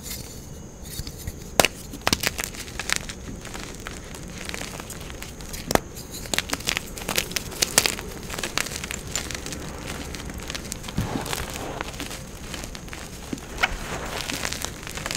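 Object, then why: Pressed gym chalk block. A solid block of pale green pressed gym chalk is squeezed and crushed between both hands, with fingertips and long painted nails breaking it into crumbly chunks and powder piled on a marble surface. Dry, bright crackles and crunchy snaps come in irregular bursts over a steady gritty crumbling hiss, with the sharpest cracks near the start and middle.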